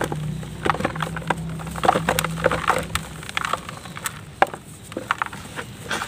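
A large solid block of dry red mud sits in loose red dust in a white plastic tub while bare fingers with painted nails crumble and rub pieces off it. Dry, sharp crackles and crumbling snaps come in quick bursts over a soft, steady rustle, with a low hum underneath during the first three seconds.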